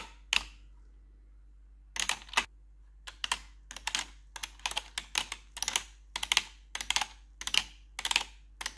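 Metal claw nails on a gloved hand tap and scratch the keys of a black plastic RGB computer keyboard. A lone sharp click is followed by a pause, then a steady run of bright, dry clicking and scraping bursts with almost no low end and very short decay.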